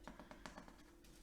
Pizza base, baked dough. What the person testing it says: if it sounds hollow if you tap it then it's definitely cooked